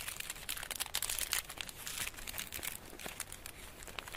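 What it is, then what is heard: Foil-wrapped chocolate bar. Painted nails and fingertips scratch, rub and crinkle the crinkly gold foil, embossed with a design, wrapping a solid, flat rectangular Easter chocolate bar held in both hands. A dense, bright crackle of rustling and crinkling runs steadily throughout, with quick sharp scratchy ticks and little low end.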